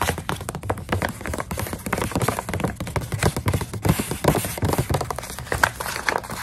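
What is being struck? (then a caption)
Plastic snack pouch filled with dried coconut strips. Long nails tap and scratch across the surface of a full plastic snack pouch of dried coconut strips. The result is a dense run of quick, dry taps with crinkly scratching between them, with the energy sitting low and little bright content. The loudness stays fairly steady across the clip, without clearly separated hits.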